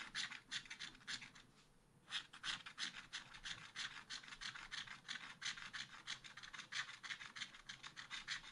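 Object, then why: Coated scratch art paper card scraped with a wooden stylus. A wooden stylus rubs back and forth across a small black-coated scratch art sheet to fill in a chick shape. Quick, dry, bright scratching strokes repeat about three times a second, with a short lull before they resume at a steady pace.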